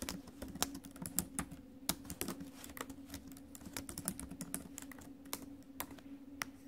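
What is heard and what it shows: Long acrylic nails and fingertips tap and click the plastic keys of a silver ASUS laptop keyboard set in a metal chassis, with one hand briefly touching the metal trackpad area before typing resumes. The result is a quick, irregular patter of sharp, bright clicks, each dying away almost at once, over a steady low hum.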